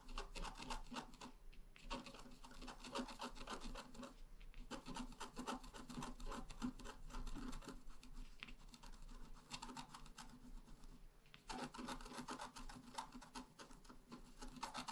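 A pointed wooden stylus scratches flowers into the bottom of a flat, black-coated scratch art card about A4 in size. Quick, dry, raspy scratching strokes come in dense runs, broken by a few brief pauses.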